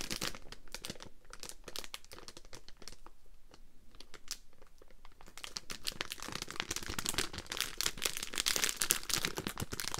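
A small Polo spearmint bag of crinkly plastic, full of mints, is held in both hands and squeezed, crinkled and scratched with long nails. Dense, bright crackling and rustling fill the clip, easing to a softer scratch in the middle before growing louder and sharper toward the end.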